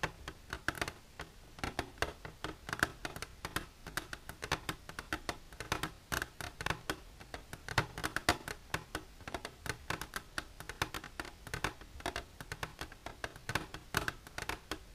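Long silver nails tap on the wall of an empty, transparent hard plastic container, heard close-up. The result is a rapid, uneven stream of sharp, clicky taps with a bright edge and a hollow tone around 700 Hz. Each tap dies away almost at once over a faint, steady background.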